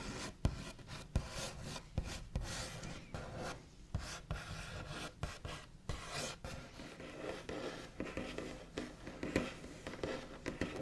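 The backs of the fingernails of both hands scratch, trace and tap on a large, solid, white-painted wooden table top with a smooth finish. Continuous dry, rasping scratches are broken by frequent sharp, brief taps that stop almost at once with no ring, and the sound has a low, woody body.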